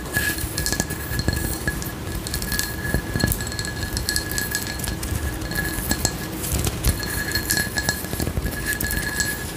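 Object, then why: Textured frosted glass candle jar. Long nails tap and scratch along the raised geometric pattern of a frosted, textured glass candle jar with a white lid, held in one hand. Dense, quick clicks and light glassy clinks run steadily throughout over a scratchy, bright rasp and a low rumbling bed.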